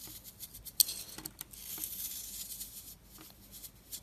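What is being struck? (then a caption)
Soap bar scraped with a blade. A utility-knife blade scrapes and carves the surface of a round, solid bar of dry orange and purple marbled soap held in the hand, throwing off crumbly flakes. A quiet, bright, dry scraping hiss runs throughout, broken by short crisp ticks, with one sharp louder click early on.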